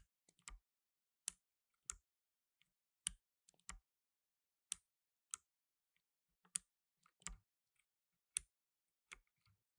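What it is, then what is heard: Plastic mechanical keyboard. Blue nitrile-gloved fingertips press keys on a black tenkeyless mechanical keyboard with plastic keycaps. Quiet, bright, dry clicks with a slight low thump land at an irregular pace, separated by near silence. Each press stops instantly with no ring.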